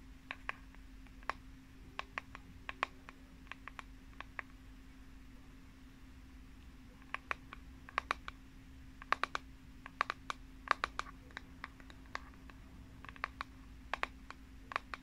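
A pink plastic paddle hairbrush with a unicorn print on its flat back and a hollow handle is held in one hand while long painted nails tap its back. Sharp, dry clicks with almost no ring come in quick, irregular clusters, pausing for a few quiet seconds in the middle before the tapping resumes. A faint, steady low hum runs underneath throughout.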